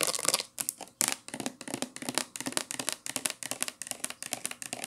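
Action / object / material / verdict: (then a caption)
tap / plastic shampoo bottle / plastic / none. Long nails scratch and tap a hollow, medium-size teal plastic shampoo bottle held sideways, working over its printed label side and its cap. The result is a rapid run of crisp, bright, dry scratches and clicky taps with almost no low end and no ring after each touch.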